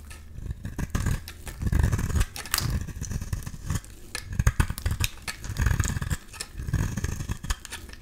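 A metal utility-knife blade scrapes and shaves a solid rectangular beige bar of soap held in the hand, peeling off fine flakes. The strokes come as repeated dull, low scraping rasps, each broken up by quick gritty crackles and brief bright ticks.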